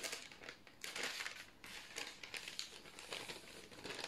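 A long, thin sheet of white parchment baking paper is held in both hands and flexed and folded. It gives a steady run of soft, bright crinkles and crackles with brief swells, and no tearing.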